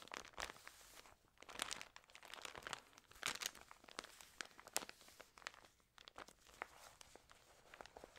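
Long nails riffle the edges of a Trends paper news magazine with wavy, water-damaged pages, then the cover is closed and fingertips rub and press it. Crisp, bright crinkles and sharp ticking clicks come in quick, uneven bursts with almost no low end, each sound stopping dead without ringing.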